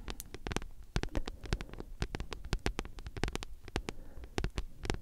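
A thick paperback book with a glossy card cover, solid, is scratched and tapped with long nails. Quick, sharp clicks run in a rapid, uneven stream over a low, soft scratching texture, each tap dying almost instantly, with bright tips over a mostly low, muffled body.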